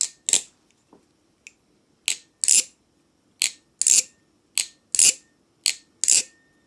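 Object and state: Ringing aluminium butterfly-knife trainer handles.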